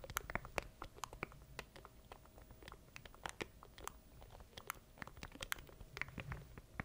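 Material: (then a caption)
Plastic. A small black plastic stream deck controller is held in both hands near the mic while fingertips tap and click its button keys. The result is a quiet, dense run of short, dry clicks and taps with bright crisp edges and a faint steady tone underneath.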